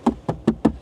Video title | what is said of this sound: ESSAI LEAPMOTOR T03 | ça sonne creux